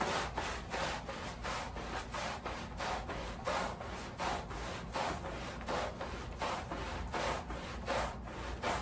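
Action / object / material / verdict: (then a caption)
scrape / wet woven pile rug scrubbed with a bristle brush / woven fabric / none. The back side of a wet, sudsy woven pile area rug, lying on a plastic sheet, is scrubbed with a long-handled wooden-block bristle brush. Steady back-and-forth strokes produce a rhythmic, gritty swishing with a wet hiss, repeating at a moderate, slightly uneven pace.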